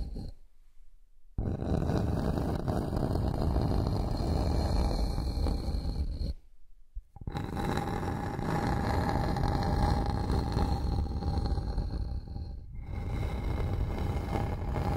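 A flat, solid bamboo wooden board lying on a surface is scratched with the long nails of one hand, giving a dense, continuous low rasping scrape. The scratching runs in long stretches broken by two brief near-silent pauses, with a faint steady tone above.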